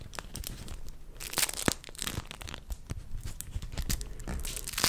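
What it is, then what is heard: Beeswax fabric wrap. A thin pink beeswax-coated cotton wrap with a hexagon print is crinkled, bent and rubbed with fingertips. Dense, crackly papery crinkles and sharp tearing-like snaps overlap continuously, with brighter bursts of stiff crackle throughout.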